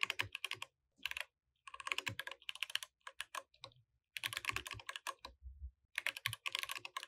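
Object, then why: Mechanical keyboard with plastic keycaps. A compact mechanical keyboard with white, grey and orange plastic keycaps is typed on continuously by both hands using fingertips, while the mouse beside it stays untouched. Rapid, bright, clacky keystrokes come in bursts separated by short pauses, each click dying away almost instantly with very little low end.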